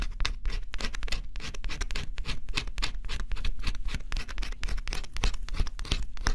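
A small stylus held in the fingertips scratches the black coating off a flat, thin cardboard scratch-off jigsaw puzzle. Rapid, short, dry scratching strokes follow one another densely over a steady low rumble, each stroke crisp and quickly gone.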